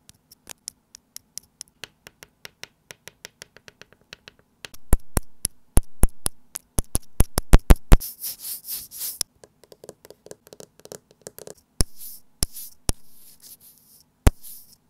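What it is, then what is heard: Plastic earphone inline mic remote. A small white plastic in-line microphone remote from wired earphones, taped to a desk, is tapped with the tip of a white stylus pen, then tapped and rubbed with fingertips. A long run of quick, dry plastic ticks grows from faint to sharp, louder clicks over a faint low hum. It then gives way to bursts of bright, hissy rubbing between scattered crisp taps.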